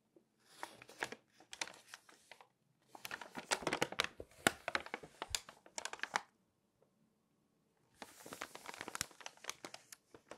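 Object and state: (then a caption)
Glossy paper magazine. Long nails scratch and tap the printed pages of an open glossy paper magazine, then turn a page. Three bursts of quick, bright, crinkly scratches and taps with brief crackles are separated by short silences, each sound dying away almost instantly.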